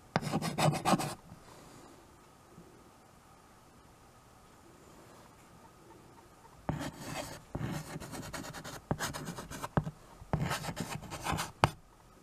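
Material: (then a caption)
Slate and wood. White chalk held in the fingers scratches writing strokes across a small handheld chalkboard with a wooden frame. A short burst of raspy scraping is followed by a long near-silent pause, then several longer stretches of gritty chalk strokes with brief breaks between them.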